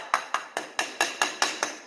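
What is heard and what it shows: A concrete slab floor is tapped eight times a little further out from the wall, giving short, sharp knocks with a bright ring around 1.2 kHz and almost no low end. This spot sounds more dense than the hollow area right next to it.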